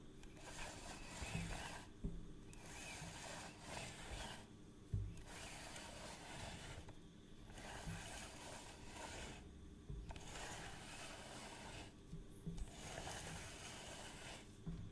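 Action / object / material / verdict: scrape / plastic measuring tape reel case / plastic / none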